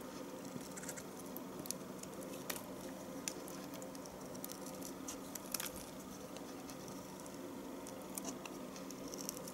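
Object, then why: Bar of household soap. A knife shaves thin curls from the end of a solid yellow bar of household soap with stamped letters. Quiet, steady scraping and soft crackle run throughout, punctuated by brief, bright ticks and snaps as the blade cuts, over a faint low hum.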